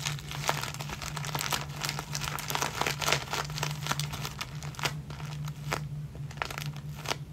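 A clear plastic zip-lock bag full of clear elastic hair bands, with a ball chain, is scrunched and crinkled in the fingers and then rubbed with the fingertips. Dense, bright crinkling crackles sit over a steady low hum. The crinkling thins out into sparser, sharp rustles toward the end.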